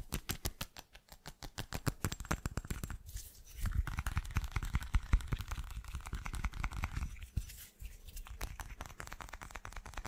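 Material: Glass.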